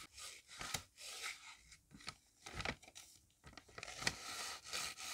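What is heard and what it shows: A hand-held paper cutout of a shoe brush is brushed back and forth over a flat, thin hand-drawn paper shoe on a grid notebook page. The result is soft, bright, papery scrubbing and rubbing in uneven bursts, with occasional crisp scrapes.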